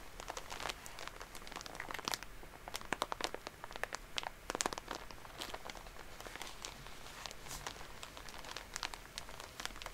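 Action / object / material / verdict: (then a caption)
scrape / soft plastic wrapper around a pack of cotton pads / soft plastic / none. A full Shiseido soft plastic cotton pad pack is crinkled, squeezed and scratched with long polished nails. The result is a steady stream of bright, crisp crinkling and crackling with sharp, very short snaps and scratchy rustles over a faint low background.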